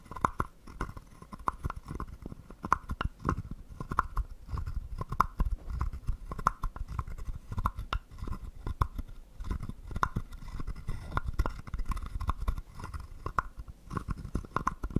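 A wooden stick scrapes and taps the ridged back of a small, hollow, carved wooden frog guiro. The result is a steady stream of dry, rapid clicks and rasps with a hollow, woody tone around 1 kHz and a strong low thump beneath. Each stroke dies away almost instantly.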